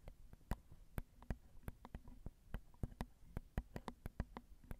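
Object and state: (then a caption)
Nails tapping a metal mesh microphone grille. Long acrylic nails tap the small hollow metal mesh grilles of a Zoom recorder's XY microphone capsules in a quick, uneven rhythm, about twenty distinct taps. Each tap is a short, crisp tick with a low, dull thump underneath that dies away almost instantly, and the whole clip stays quiet and close.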